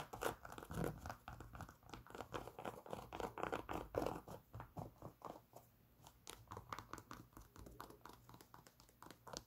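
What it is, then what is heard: Knit fabric sneaker being scratched. Long pink nails scratch the knit textile upper of a grey Adidas NMD sneaker with a foam sole, held hollow and empty in the hands. Quick, irregular raspy strokes crinkle and scuff in a soft, close stream, easing briefly around the middle before picking up again.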